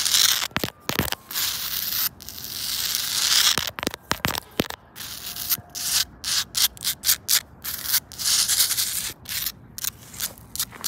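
Long pointed acrylic nails scratch and rub across a large, solid, rough granite boulder outdoors. The result is a bright, hissy grinding, heard first as sustained rasping strokes and then as a run of quick, choppy scrapes separated by short gaps.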